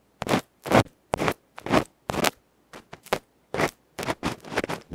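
A tapered bamboo ear-pick tip scratches and rubs across the felt/mesh face of a small, hollow, uncovered metal electret microphone capsule held in the fingers. It makes a quick, uneven series of rough, scraping, zipper-like strokes, each a short broadband burst with a dull low thump and bright hiss that stops dead with no ring.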